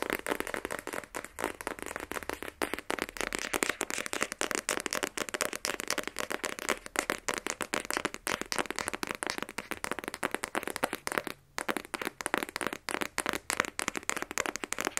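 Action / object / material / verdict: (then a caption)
tap / rigid cardboard phone box / cardboard / none. A small, black, rigid cardboard iPhone 12 Pro box, hollow with the phone inside, is held in both hands and quickly tapped with fingernails. The result is a steady, rapid stream of dry, crisp clicks with a bright, papery edge and almost no ring, continuing for the whole clip with only one brief pause.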